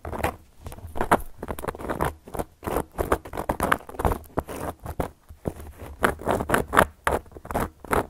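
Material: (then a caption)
Cork. Long gold metal claw nail covers on the fingertips scratch and tap across a round, flat, solid cork coaster. The result is a quick run of dry, papery scratches and soft taps in irregular bursts. The sound sits mostly in the mids, with little brightness, and each touch dies away almost at once.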